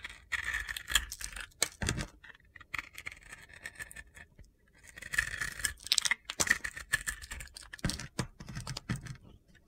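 A utility knife blade shaves the coated surface of a solid pink and black glitter soap bar held in hand, exposing white soap underneath. Dense, gritty scraping and crunchy crackles come in short bursts with a bright, hissy edge, separated by brief quieter pauses.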